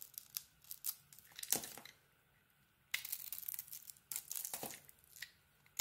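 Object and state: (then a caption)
Bar of soap being carved. A utility knife blade carves and scrapes a solid soap bar with a textured pink coating and an orange interior, breaking off crumbly chips. Bright, dry crackling and scraping bursts come in irregular clusters, with a near-silent pause around the second and third seconds before the cutting resumes.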